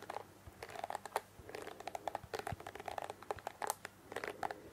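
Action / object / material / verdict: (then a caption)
flick / plastic hairbrush with plastic bristles / plastic / none. Long fingernails scratch and flick across the plastic bristles of a pink plastic hairbrush held close to the microphone. The result is a quick, uneven run of dry, crackly clicks and crinkly scrapes, centered in the mids around 890 Hz with short bright tops. Each flick dies away almost instantly over a faint background hiss.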